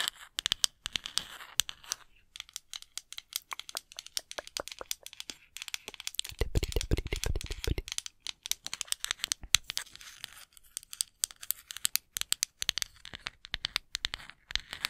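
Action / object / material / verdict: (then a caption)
tap / small wooden cooking spoon / wood / none. A small, solid, light-coloured wooden cooking spoon, possibly bamboo, is held close to a microphone and tapped and scratched with long acrylic nails. Rapid, bright clicks and dry scratching crackle densely with almost no ring. A louder stretch in the middle, around six to eight seconds, adds fuller, lower-bodied rubbing.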